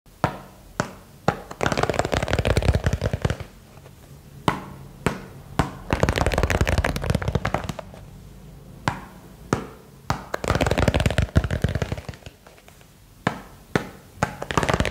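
A small box is tapped quickly with fingers for ASMR, its material unknown. Scattered single sharp taps alternate with dense bursts of rapid tapping that blur into a continuous clatter. The sound is low-heavy and dry, with each tap dying away almost instantly.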